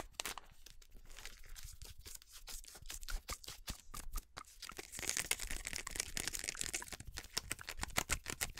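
A full yellow plastic bag of PAN corn flour is crinkled and scratched with long nails, giving a dense run of sharp, bright crackles and scrapes over a faint low hum. The crinkling grows louder and brighter from about five seconds in and continues to the end.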